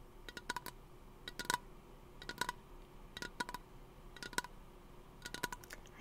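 Fingernails tap a small, hollow teal aluminum aerosol lotion can held at the microphone. Quiet bursts of quick, bright metallic ticks come roughly once a second, each with a faint ring around 1.5 kHz that dies away almost instantly.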